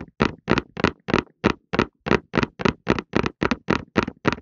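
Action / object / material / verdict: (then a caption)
tap / cardboard tissue box / cardboard / none. A cardboard tissue box is held in both hands and tapped with the fingertips on its top and sides, for calming ASMR. About fifteen quick, slightly uneven, hollow papery thuds, roughly three per second, each dying away almost at once with a soft low body and a bright crisp edge.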